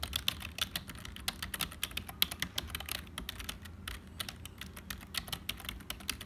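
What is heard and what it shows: Fingertips of both hands type continuously on a black HP full-size plastic keyboard with a hollow body. The result is a quick, steady stream of sharp, bright clicks and clacks that cut off almost instantly, over a faint low hum.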